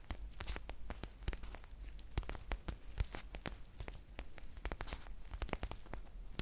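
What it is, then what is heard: Foil tea pouch. A green foil tea pouch with a paper label is crinkled and scratched with long nails. Many sharp, bright crackles and scratches come in quick, irregular bursts over a low, steady rumble.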